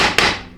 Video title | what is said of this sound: Chrysler Jeep A904 (A998) Rebuild PT2: Final Assembly | You hear that flat sound? It's not like a hollow thwunk